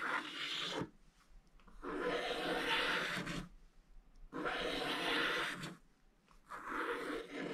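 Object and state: Scratch-art paper page.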